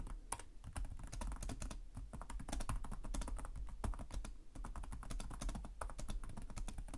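Fingertips with short nails type continuously on the plastic chiclet keyboard of a black laptop resting on a desk. The result is a steady stream of rapid, dry key taps, each a short click over a soft low thump that dies away almost instantly.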